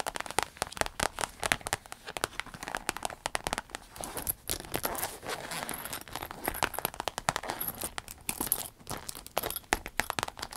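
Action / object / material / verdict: tap / clear vinyl zip pouch filled with cosmetics / vinyl / none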